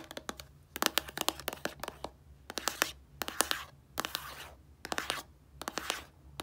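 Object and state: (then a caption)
Plastic shampoo bottle. A small, hollow white plastic shampoo bottle with a blue cap is tapped and scratched with long painted nails. Bursts of quick, sharp, bright clicks alternate with brief raspy scratching passages and short quiet gaps.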